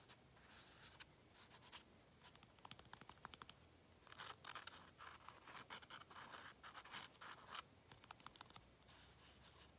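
A small plastic acrylic paint bottle with a flip cap has its cap and top scratched with fingernails. Quiet, bright scratching comes in dense bursts of rapid clicks and rasps, with short pauses between.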